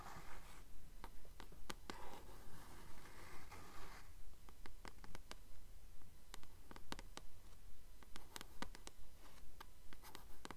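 Long fingernails tap and scratch the cover of a blue *Titan's Curse* paperback book held upright. About 25 soft, evenly spaced taps come at a steady rhythm, with sharp clicks and short stretches of rough, papery scratching. The result is quiet, with a dull, low-heavy body.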